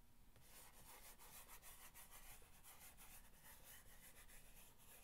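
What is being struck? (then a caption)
Corrugated cardboard box. An index fingernail scratches back and forth on the top of a long, hollow corrugated cardboard box. It makes a continuous, quiet, dry scratching rasp with a faint papery hiss and a low hollow rumble from the box.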